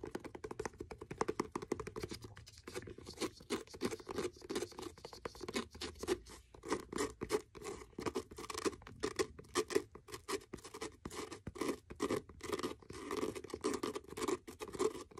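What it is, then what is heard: Faux leather hardcover notebook. A blue faux leather hardcover notebook is held edge-on while fingernails scratch along its page edges and cover. The result is a steady run of quick, dry scratching strokes with a papery midrange body and a faint bright crackle, rising and falling in short bursts throughout.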